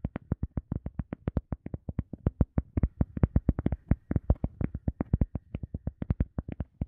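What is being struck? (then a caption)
EVA foam sponge. An EVA foam sponge is tapped repeatedly in a quick, uneven rhythm, about fifty soft, dull taps in under seven seconds. Each tap is a short, low thump that stops at once with no ring, and the taps vary a little in loudness.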